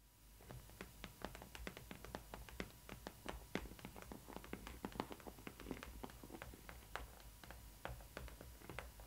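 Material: Cardboard.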